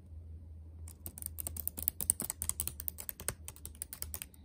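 Fingertips type rapidly on a backlit laptop keyboard with black plastic keys set in a metal body. After a brief stretch of steady low hum, a quick run of short, dry, bright clicks begins about a second in and continues to the end. The hum stays underneath throughout.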